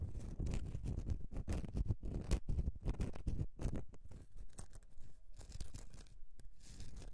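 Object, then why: Bar of soap. Long dark-painted nails and fingertips scratch a solid, rectangular bar of soap with a textured, lacy-patterned surface lying flat on a grey mat. The result is a dense run of short, dry, irregular scratching and rubbing strokes, mostly dull and low with brief brighter scrapes.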